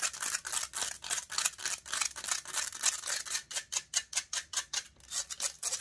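Long pointed nails scratch aggressively across the hollow metal mesh grille of a silver condenser microphone. About thirty rapid, uneven strokes produce harsh, bright, hissing scrapes, each one short and dry with almost no low end.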